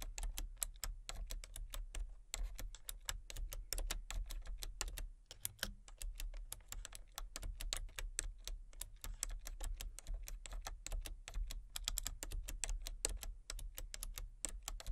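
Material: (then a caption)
Plastic. Fingertips type rapidly on a full-size plastic computer keyboard with a colour-changing backlight, with one hand working the numpad. A steady stream of short, dry, bright clicks and taps runs throughout with almost no ring, over a constant low hum. There are only brief pauses between bursts.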